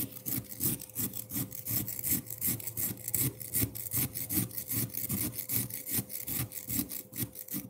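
Metal fork tines saw and scrape across the surface of a solid frozen pineapple milk ice block. The steady back-and-forth strokes make bright, gritty rasps over soft low thumps, with a faint constant hum underneath.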